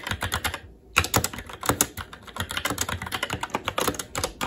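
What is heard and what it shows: Fingertips of both hands type rapidly on a SteelSeries Apex 7 TKL mechanical keyboard with red linear switches, black plastic keycaps, an aluminum top plate and RGB backlight. About 29 short, bright plastic-on-metal key clacks come in a fast stream, with a brief pause near the start. Each clack dies away almost instantly over a faint low thud.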